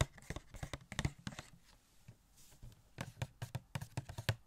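Fingertips tap on a small, hollow cardboard Catwoman Funko Pop box with a clear plastic window and the figure inside. About nineteen quick, dry taps come in uneven bursts, each a short low thump with a light crackle that dies almost at once.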